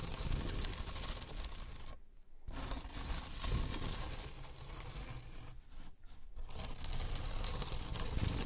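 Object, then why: Stacked corrugated cardboard scratching pad. Long acrylic nails on one hand scratch and tap across a flat, solid pad of stacked corrugated cardboard, a cat scratching board. The result is a dense, continuous rough scratching with a heavy low rumble and a gritty, crinkly texture, briefly easing around 2 seconds and again near 6 seconds.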